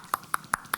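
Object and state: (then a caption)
Hollow-sounding baked bread, done. The base of a baked loaf of health bread is tapped four times in steady succession. Each tap is a short, sharp, hollow knock with a brief mid-high ring. The hollow sound shows the bread is done.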